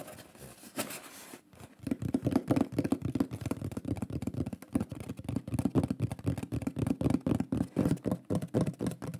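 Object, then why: Flat wooden plaque. Fingers tap rapidly along the lower edge and face of a shield-shaped, solid wooden pyrography plaque with a lion drawing, held upright. After a brief soft rustle, a fast, uneven run of short, dull knocks follows, each with a low-mid body that stops almost instantly.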